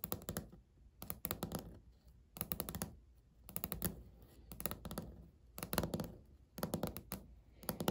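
Natural fingernails of both hands tap in a typing-like pattern on a solid, flat, speckled beige laminate countertop. Quick bursts of crisp clicks ride over a dull low thud, each tap dying away almost at once, and the bursts are separated by short quiet gaps.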